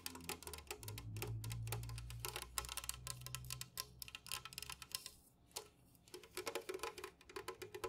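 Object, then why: Aluminum drink can. Long nails and fingertips tap rapidly on an unopened, full, tall Jumex guava nectar aluminum can lying on its side on a fuzzy mat. The taps are short, dry, bright clicks in uneven bursts, over a low steady hum for the first few seconds. They stop briefly around the five-second mark before resuming.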